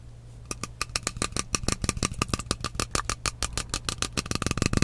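Fingernails tap quickly on the side of a partly filled frosted glass mist bottle with a metal cap. About 27 short, sharp clicks with bright, glassy overtones start after a half-second pause and speed up toward the end. A steady low hum sits underneath.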